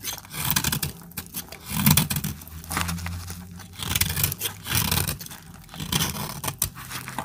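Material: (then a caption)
Soap. A utility-knife blade cuts slices off a small, solid piece of dried orange soap held in the hand. Dry, crisp scraping and crackling bursts repeat throughout, with bright, gritty texture over a steady low hum.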